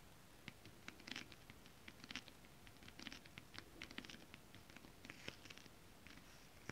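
Long acrylic nails tap and scratch a flat holographic foil mermaid-scale stretch fabric, with some fingertip rubbing. Quiet, scattered clicks and brief bright scratches come in irregular clusters over a soft hiss, with no lingering ring.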